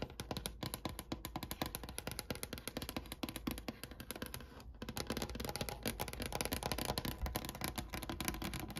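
Long painted nails tap rapidly with both hands on the top of a large, solid wooden desk with a brown grained finish, set by a sunny window. The result is a dense, steady stream of short, dry clicks and knocks, with a dull woody body beneath bright nail ticks. The tapping grows slightly louder toward the end.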